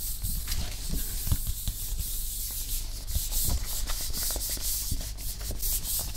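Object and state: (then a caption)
Glossy paperback book cover being rubbed. A medium-sized softcover book with a glossy printed card cover, Norman Conquest, is held up in one hand while a palm and fingers rub across the smooth cover in slow strokes. The result is a soft, continuous rubbing and swishing with bright, airy high texture over a steady low hum.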